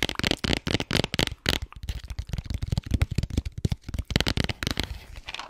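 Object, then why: Cardboard game box. Long white nails scratch and tap along the face and edge of a flat, printed cardboard game box with colorful pictures, held above a microphone. The result is a rapid, uneven run of short, dry taps and rasping scrapes with a deep, close thump under a bright papery crackle.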